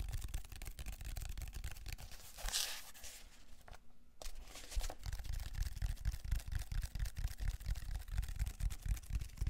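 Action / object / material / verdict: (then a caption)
scrape / ridged plastic foam roller / plastic foam / none. Fingertips and nails scratch along the ridges of a large black, ridged plastic textured foam roller, held upright and then horizontally close to the mic. Rapid, uneven strokes make a dense, low, rumbling scratch, broken by a brighter hissing swipe and a brief near-silent pause before the scratching resumes and grows slightly louder.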